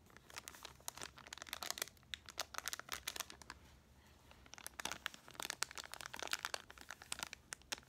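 A small clear plastic retail bag with a cardboard header card, full of 12 plastic mascara wands, is held in both hands and crinkled and scratched with long painted nails. Dense, bright crinkling and sharp plastic crackles come in quick bursts, easing to a brief quiet spell near the middle before the crinkling picks up again.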